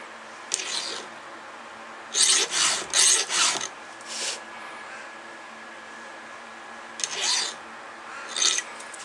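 A round steel file in a red holder is drawn in repeated strokes across a cutter tooth of a solid steel chainsaw chain. Each stroke makes a bright, high rasping scrape, with short pauses and a faint steady hum between the strokes.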